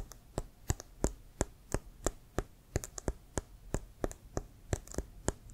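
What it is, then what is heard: Leather American football being tapped. Fingertips and nails tap and scratch a hollow, inflated brown leather American football with a white stripe, held upright. A quick, uneven run of short, dry taps follows, each a soft low thump topped with a bright click and almost no ring.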